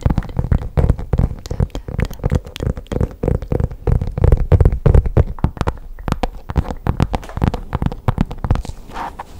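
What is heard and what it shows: Long pink nails scratch and tap rapidly on a hollow black faux leather zip pouch with a stitched edge, held close to the microphone. The quick, irregular taps land as dull, low, muffled thuds that die away almost instantly, mixed with soft scratching. Near the end, the tapping thins out and turns quieter.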